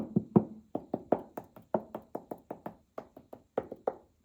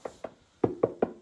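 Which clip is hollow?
The first.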